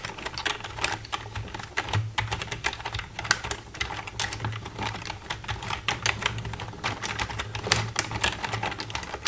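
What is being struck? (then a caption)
Plastic computer keyboard keys. Long red nails tap rapidly across the keys of a black plastic computer keyboard, making a dense stream of sharp, bright plastic clicks that vary in loudness. A steady low hum sits underneath the tapping throughout.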